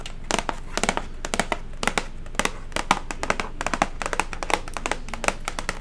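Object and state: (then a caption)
Cardboard gift box. Long matte acrylic nails tap and scratch the flat, hollow lid of a silver cardboard chocolate gift box with a blue ribbon. The result is a rapid, irregular run of short, dry, clicky taps with a bright, papery edge and almost no ring. Soft scratching and a low background hum fill the gaps between taps.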